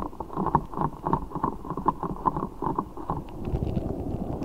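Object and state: Rubber spiky ball filled with water beads.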